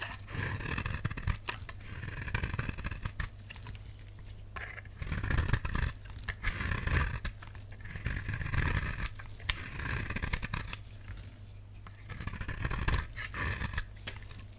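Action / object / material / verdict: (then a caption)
scrape / bar soap / soap / none. A solid, dry, pale pink oval bar of soap held in the hand is scraped with a utility knife blade, shaving off powdery flakes. Dense, dry scratching with bright, crisp upper content comes in repeated bursts separated by quieter pauses, over a steady low hum.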